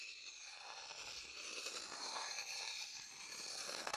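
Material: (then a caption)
Wood. An empty, dark-brown hollow wooden bowl held in the hand is stirred and scraped around its inside with a wooden stick. The result is a quiet, steady, bright scraping rasp with no low end, ending in a few sharper clicks.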